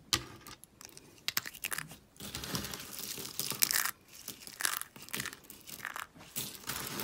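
Small, brittle, dry soap flakes are crushed and crunched in a fist with long painted nails. The sound is a dry, bright crackling with sharp crunchy bursts and stretches of continuous crinkling as the shards break apart, with almost no low end.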